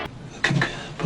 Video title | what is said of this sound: How to make Pulp Fiction's iconic food - Big Kahuna Bites & $5 Delights 🍔 - Dinner & A Movie series | sound hollow when you tap the bottoms